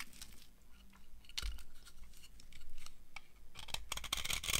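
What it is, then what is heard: Dry soap bar. A solid, dry orange soap bar is shaved with a metal knife, coming off in crumbly flakes. Quiet, dry scraping and crisp crunches repeat in short bursts, with bright crackling strokes that grow denser toward the end.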